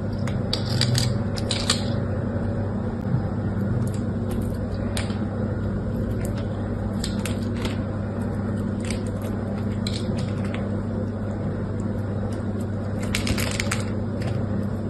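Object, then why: Bar of soap cut with a small metal blade. A solid rectangular purple bar of soap with a cross-hatched surface, held in one hand, is carved and scraped with a small metal blade, and soap chips fall onto the table. Crisp, bright scraping and crackling cuts come in quick bursts over a steady low hum.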